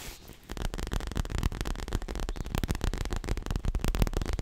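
Fingertips and long nails rapidly tap and scratch the soft, stuffed surface of a medium square dark grey leather throw pillow held upright in front of the mic. After about half a second of near silence, a fast, continuous run of dull, low, muffled thuds begins, with very short decay and faint scratchy texture over them.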